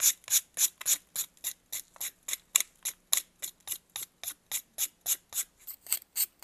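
A metal knife scrapes a solid white pressed baking soda block held in blue gloves, shedding shavings. About 23 quick, bright, crisp scraping strokes repeat in a steady rhythm, with almost no low end.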